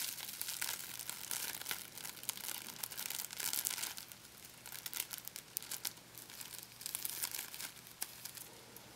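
A crumpled ball of thin, sticky clear plastic packing tape is squeezed, then stretched flat and pulled apart by fingertips. It makes a dense, bright crinkling and crackling full of sharp little snaps and sticky peeling ticks, with almost no low end. The crackle stays busy throughout, peaks around the middle and eases into softer rustling near the end.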